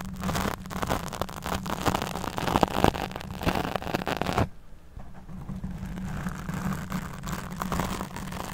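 Fingertips and nails scratch and stroke a black foam windscreen on a microphone while one hand holds the mic body. Dense, rough scratching and rustling runs for the first four and a half seconds with a steady low hum underneath. It cuts out briefly, then resumes as softer, lighter stroking.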